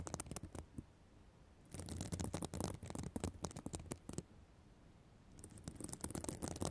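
Long black nails scratch the plastic sequins of a reversible sequin fabric notebook cover, giving dense bursts of crisp, bright clicking and rasping. The scratching comes in three stretches separated by brief quiet pauses, over a soft low rumble.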